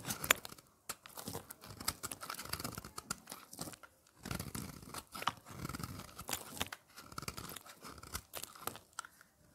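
A utility blade repeatedly scrapes and shaves the surface of a thin, solid red slab of dry bar soap held in the hand. It produces a dense run of crunchy, bright scratching strokes with short pauses between bursts.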